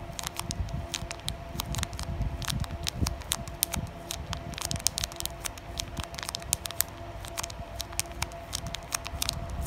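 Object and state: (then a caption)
Foil plastic card booster pack. Long painted nails tap and scratch across the printed front of a flat, thin foil-plastic Carddass trading card booster pack lying on a pile of other packs. Quick, sharp, bright clicks and crinkly scratches come in a dense, uneven patter over a low rumbling bed, with a faint steady tone running underneath.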